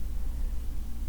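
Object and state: Nothing is struck.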